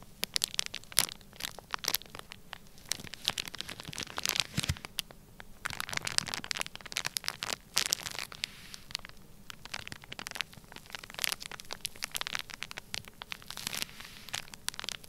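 Fingertips press and scratch across a flat, sealed, clear plastic bag filled with solid-packed orange kinetic sand. The result is a dense run of quick, bright crinkling and crackling scratches with almost no low end and no ring after each touch.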